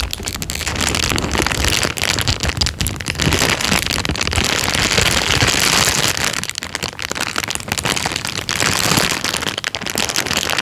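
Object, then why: Thin plastic bag. An empty, thin, clear plastic bag is held up and crumpled by hand. It makes a steady, dense crinkling and rustling that is bright and crackly throughout, easing briefly around the middle of the clip before picking back up.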